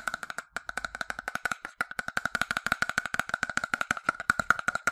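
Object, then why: Plastic sunscreen bottle tapped with its plastic cap and fingertips. A medium-size, partly filled, yellow hollow plastic sunscreen bottle is tapped rapidly with its detached translucent plastic cap and fingertips. The result is a fast, steady stream of dry, hollow, woodblock-like clicks centred around 1.4 kHz, each dying away almost instantly. There is almost no low end, and the taps grow slightly louder toward the end.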